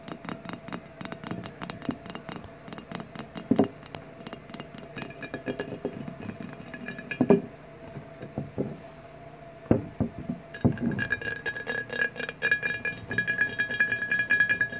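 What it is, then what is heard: Empty glass bottle. Fingernails rapidly tap the sides of a large, empty, rectangular clear glass 1800 margarita bottle, which is handled near its capped neck and then stood upright. Dense, short, bright clicks are heard with little ring, broken by a few louder knocks. A faint steady tone runs underneath, and a thin high whine joins in for the last few seconds.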